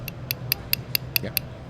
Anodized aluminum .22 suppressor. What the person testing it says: it's not Styrofoam that's the sound of a beautiful type hard three anodized coating